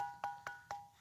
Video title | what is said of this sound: NGOPI di gunung padang sambil jalan jalan,belajar situs PURBAKALA sama kuncen kang DIDI. | bunyinya besi sudah membatu kan